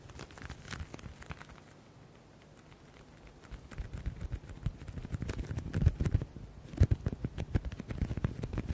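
A flat black leather folder is held in both hands while fingertips tap and scratch its edges and surface. Quick, dull, low tapping and scratching patter starts faintly, thins to a near-quiet stretch, then grows louder and denser with sharper taps toward the end.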